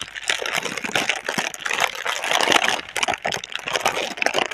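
Long red-nailed fingertips crinkle and rub the film of a single clear, hollow, air-filled plastic air-cushion packaging tube with green print, held in both hands. Dense, bright crackling and rustling come in rapid bursts throughout, with no low rumble beneath.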